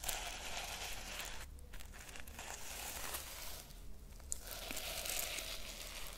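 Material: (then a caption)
Sequins. Fingertips and long nails rub and swipe across the sequins of a pink reversible-sequin fabric pouch held close to the microphone. The result is a continuous, bright, crinkly rustling and scratching over a steady low rumble, with brief dips and small flicks as the strokes change.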